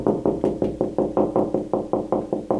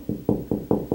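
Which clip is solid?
The first.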